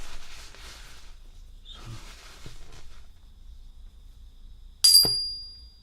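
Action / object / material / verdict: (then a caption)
drop / silver coin / silver / real. A silver coin is dropped onto a surface after some soft handling noise, landing with a sharp clink followed by a clear, high, sustained ring that fades out slowly. The bright tone confirms it is a real silver coin.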